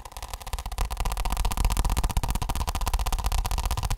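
Fingertips and short nails tap quickly on a flat, rigid, glossy orange plastic office block, hand-sized and seemingly hollow, held in the other hand. A fast, slightly uneven stream of short taps blends dull low thumps with bright clicky edges and a faint hollow ring. The taps grow louder after the first second and stay steady to the end.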